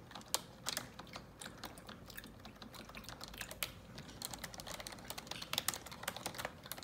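Long neon-yellow nails and fingertips type on the keycaps of a black plastic computer keyboard. The result is a quiet, irregular stream of sharp, bright taps and clicks that die away almost instantly, with a few louder strikes standing out.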